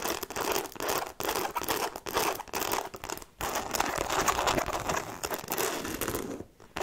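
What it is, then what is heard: Fabric handbag scratched and tapped. Long nails scratch and tap the fabric panel of a hollow black logo-fabric handbag with faux-leather trim and metal buckles, held up in the air. The result is dense, crinkly scratching broken by quick taps and brief pauses, with most energy in the mid range and a bright edge.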